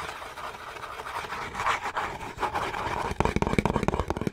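A small, closed, green Irish Spring cardboard soap box is scratched with fingernails across its flat sides, making a dry, papery rasping for about three seconds. It then switches to a quick run of sharp, dull fingernail taps on the cardboard, each one short with almost no ring.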